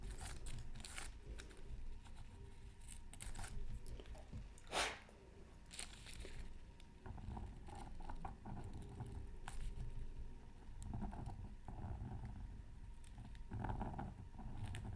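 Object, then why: Coated scratch art paper sheet. A pointed wooden stylus scratches a thin black-coated scratch art card from a Mythical Creatures Super Scratch Art Pad, lying flat on a mat. Quiet, dry scraping and crunchy strokes come in irregular bursts over a low rumble, with bright scratchy streaks and one louder stroke partway through. A faint steady tone near 1 kHz runs throughout.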